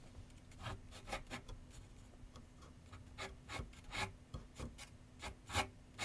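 A pencil scratches shading strokes across a large white paper sheet mounted on a board on a wooden easel with solid backing. A quiet series of short, dry, rasping strokes comes in uneven bursts over a faint steady low hum, each stroke bright and papery and stopping quickly.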